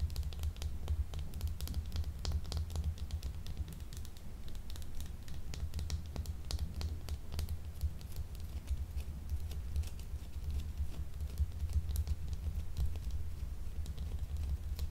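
Long nails tap and scratch a small, solid, translucent blue gemstone soap bar with gold marbling, unwrapped and held upright. Rapid, light clicks and dry scratches patter steadily over a constant low hum.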